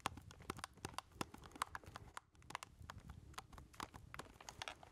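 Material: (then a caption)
Plastic. Fingertips tap rapidly on the keys and casing of a black plastic keypad game controller, its hollow handheld body held in both hands. Quick, dry, tightly spaced clicks carry a hollow mid tone with bright edges, and they pause briefly near the middle before resuming at the same pace.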